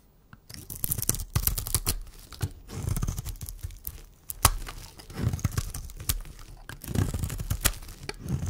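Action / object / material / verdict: scrape / bar of soap / soap / none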